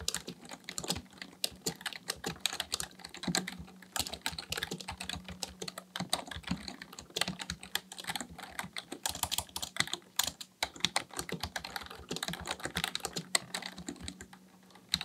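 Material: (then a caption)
Plastic. Both hands' fingertips type continuously on a black plastic full-size Dell KB1421 membrane keyboard with a hollow housing, resting on a desk, pressing and tapping keys. A rapid, steady stream of short, bright, hollow plastic clacks fills the clip, each dying away almost instantly, with a faint low hum running underneath.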